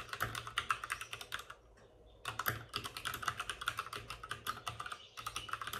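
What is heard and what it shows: Both hands type rapidly with their fingertips on the plastic keycaps of a white plastic backlit RGB mechanical computer keyboard, which sits on a desk with a padded wrist rest. Dense, bright clicking taps with a peak near 1.3 kHz fill the clip, pausing briefly in the middle before the fast typing resumes.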